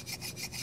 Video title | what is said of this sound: My struggles with a Heretic Wraith V3! Returning or keeping? | that's gritty just super gritty